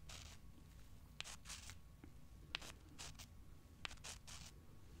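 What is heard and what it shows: Long dark-painted nails scratch and rub two small, solid, pale limestone rocks held in both hands, and the rocks are rubbed against each other. Quiet, bright scratchy bursts repeat over a low, steady background rumble, punctuated by three sharp, short clicks.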